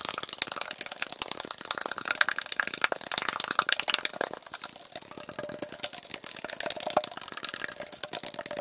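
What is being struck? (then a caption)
Tall aluminum drink can. A tall, hollow aluminum Arizona green tea can, fill level unclear, is held in hand and tapped quickly and continuously with fingertips and nails. The result is a dense stream of sharp, bright, tinny clicks and taps with almost no low end. A faint ringing tone sits around 600 Hz.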